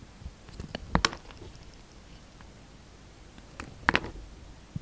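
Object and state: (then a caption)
Soap bar being shaved. A palm-sized, solid, translucent green Dalan soap bar is held in the hand and shaved with a utility knife blade. Short, crisp scraping and cutting sounds come in two clusters, near the start and again near the end, with faint, dry rasps between them against a quiet background.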